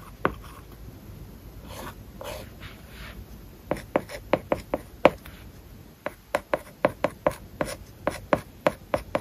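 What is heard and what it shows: A stylus tip writes words on an iPad's glass screen covered with a matte, paper-like plastic film. Soft scratchy strokes are followed by a quick run of about 21 sharp, dry ticks with a light mid-pitched click and almost no ring, in a quiet setting.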